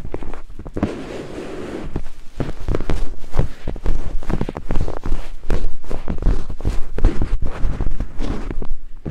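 Two thin wooden picks held in fingertips scrape and tap against white silicone binaural microphone ears. The result is a dense run of quick, close, muffled thumps and scrapes, heavy in low rumble with almost no bright content. It starts softer, then grows louder and busier after about two seconds.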